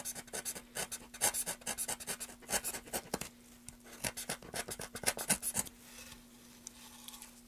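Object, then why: Wooden board and small metal carving knife. A small metal carving knife scrapes and cuts along the edge of a solid, light-colored grooved wooden board held in a gloved hand, leaving shavings on the table. Quick, dry, bright scraping strokes come in rapid bursts for about five and a half seconds, then fade to a soft rustle. A faint steady low hum runs underneath throughout.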